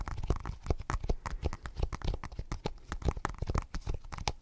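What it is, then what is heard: Glass tablet screen. Fingertips and short nails tap and scratch the glass screen of an iPad in a blue silicone case, held close to the microphone. A rapid, uneven run of short, dull, bass-heavy taps is heard, interspersed with brief scratchy, crinkling strokes that stop at once without ringing.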